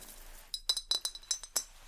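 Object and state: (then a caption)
Glazed ceramic vase. A small handmade glazed ceramic vase, a smaller piece in a similar style to a larger vase, is tapped eight times in a shop. Each tap gives a short, bright, glassy clink with a high ringing tone that fades almost at once, over a quiet background.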